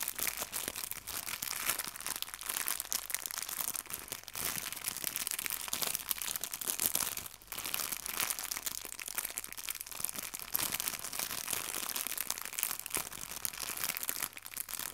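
A small clear plastic bag of fabric artificial leaves is squeezed and crinkled with fingertips and long nails. The result is a steady, dense, bright crackling with crisp rustles and crunches throughout, easing briefly in the middle before resuming.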